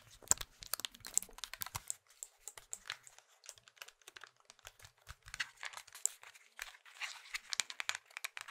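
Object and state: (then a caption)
Plastic mobile phone handled. Fingertips click the keys of a small, hollow plastic Nokia mobile phone, then both hands grip the casing and squeeze or twist it. The result is a quiet, dense run of sharp, bright plastic clicks and crackling creaks with almost no low end. Each click stops instantly, leaving no ring.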